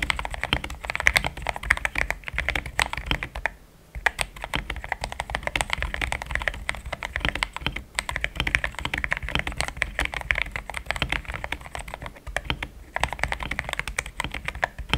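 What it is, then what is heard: Mechanical keyboard with plastic keycaps. Fingertips type in steady taps on a pink-framed compact mechanical keyboard with thick cream XDA plastic keycaps, linear switches, a polycarbonate plate and a hollow case. Dense, short clacky keystrokes with a bright top and a low body die away almost instantly, with a brief pause near four seconds before the typing resumes at the same pace.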